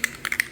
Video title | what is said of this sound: Townhome repairs part 2 and a Target run. | that rattle, that ball inside or whatever it is it's hard to get it all the way to the top